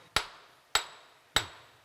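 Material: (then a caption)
Rock. A hammer strikes ore-zone rock at a mine site three times, each blow a sharp, bright metallic crack with a short ring around 3.8 kHz. The hammer bounces off the rock, marking it as hard and strong rock, a strength difference that reflects different mineral content.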